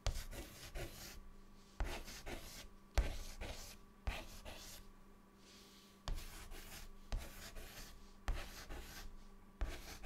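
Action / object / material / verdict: scrape / chalk stick on a chalkboard / chalk / none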